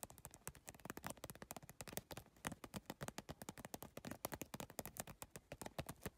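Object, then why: PVC plastic tiled bag. Long lavender nails tap rapidly on the iridescent triangular PVC tiles of a holographic geometric plastic bag. About 48 short, dry, crisp clicks come in a fast, uneven stream over six seconds, each dying away almost instantly and carrying a bright plastic edge.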